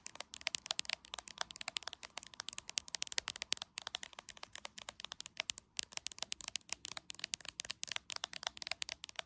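An iPhone in a solid, hand-sized clear plastic case is held in one hand while long acrylic nails tap fast on the top edge of the case. The result is a rapid, irregular stream of sharp, dry, high clicks with almost no ring and no low end, with brief pauses near 3.7 and 5.7 seconds.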